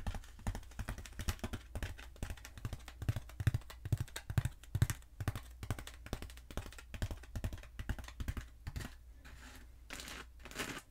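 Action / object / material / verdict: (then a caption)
tap / foam roller / foam / none. A long black textured foam roller, held upright and then diagonally, is tapped and scratched with long acrylic nails. Quick, uneven runs of dull, low thuddy taps die away almost instantly. Softer, hissy scratching bursts close out the clip.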